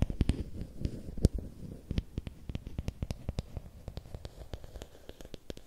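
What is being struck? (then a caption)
Thin bamboo stick. Fingernails tap and scratch along a long, thin, solid bamboo or wooden stick held diagonally. Many quick, dry clicks with short bright edges sit over a low, soft scratching rustle, each tap dying away almost at once.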